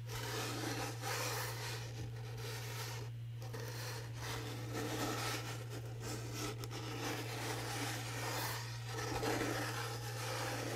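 Fingernails scratch and rub the rough teal glitter paper lid, reading HOORAY with a red rim, of a small rectangular cardboard gift box with a confetti-print side. The result is a steady, gritty rasping texture that swells and fades slightly as the strokes change. A constant low hum sits underneath throughout.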